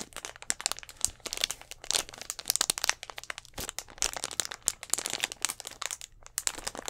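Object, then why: Thin plastic bottle. A clear, hollow plastic Gatorade bottle with an orange cap and a little blue liquid inside is scratched and tapped with fingernails close to the mic. It makes a rapid, uneven stream of bright, dry crinkling and crackling clicks that die away instantly, with almost no low end.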